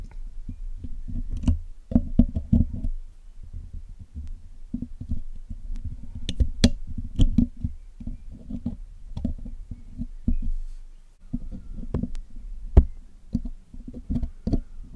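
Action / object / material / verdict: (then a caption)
scrape / metal mesh microphone grille / metal / none. A hooked metal pick and metal tweezers, held by hands with long nails, scratch and pick at the hollow black metal mesh grille of a Blue Yeti microphone while cleaning it. The close sound is dominated by deep, muffled rumbling scrapes and thumps in irregular bursts, with occasional short, bright metallic clicks and ticks cutting through.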